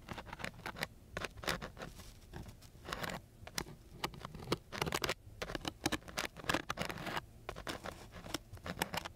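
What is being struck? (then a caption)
Coarse sandpaper sheet scratched with a wooden stick. A flat wooden stick is scratched along the grit of a coarse sheet of sandpaper in quick, irregular strokes. Each stroke gives a short, dry, rasping burst that reaches up into bright, high hiss, with brief pauses between some strokes over a low, steady background.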